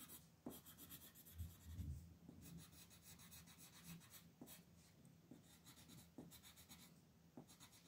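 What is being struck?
Colored pencil on a paper coloring page.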